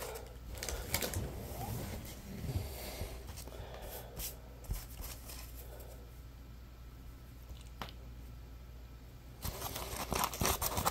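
A dry, solid and porous yellow-orange puppy-shaped Scrub Daddy polymer foam sponge is bent, squeezed and scratched with fingertips. The result is soft, irregular crackling, rubbing and scratching sounds with brief bright ticks over a low, steady rumble, growing denser and louder near the end.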